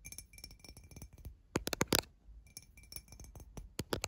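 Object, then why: Glass drinking tumbler. A tall clear glass tumbler, empty and hollow with water droplets inside, lies on its side on a bedsheet and is tapped quickly with fingernails and fingertips. The taps are quick, bright clicks and clinks with a faint high ring that dies almost at once. A louder cluster of sharp taps comes in the middle, then softer tapping, and strong taps return near the end.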